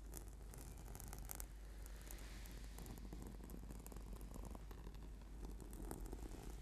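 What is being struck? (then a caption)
Foam yoga mat. Fingertips and nails scratch quickly across a flat, sticky purple PVC/foam yoga mat. The result is a steady, quiet stream of soft, dense rasping with brief brighter scrapes on top, all sitting over a constant low hum.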